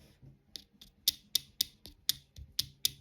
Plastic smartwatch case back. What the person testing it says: you can hear that it's just cheap nasty plastic